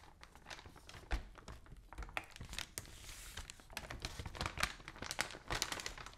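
A large open newsprint newspaper lies spread flat while fingertips and long nails rub and scratch across its pages, and the sheets are lifted and turned. Dry crinkling and papery rustles mix with bright, sharp scratches and occasional soft low thumps as the pages shift and settle.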